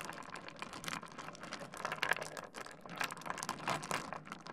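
Fingertips dig into, stir and rub a heap of small solid stone pebbles on a wooden desk. The result is a dense, continuous stream of light clicks and gritty clattering, bright and crisp, with short ticks that stop almost at once and a few louder knocks around the middle.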